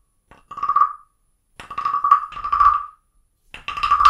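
A wooden stick taps and scrapes the ridged back of a small carved wooden frog guiro, first held in the hand and then set on a book. It makes short rasping, croak-like bursts with a clear woody tone around 1.2 kHz and a brief bright edge. The scrapes come in uneven runs separated by short pauses, each one stopping dry with almost no ring.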